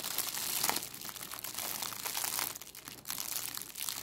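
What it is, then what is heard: Crumpled cellophane bag. A thin, clear cellophane plastic bag is held in both hands and crumpled and crinkled between the fingertips and long, decorated acrylic nails. The result is a steady stream of bright, crackly crinkling that is mostly high-pitched, with a brief quieter dip near the three-second mark before the crinkling picks up again.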